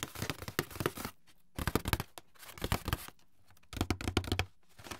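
Fingertips and nails scratch and rub the brown inner bottom of an open, empty white paperboard box. Dry, papery scraping and crinkly rustling come in four bursts separated by brief quiet gaps, with a dull low thump beneath the brighter scratching.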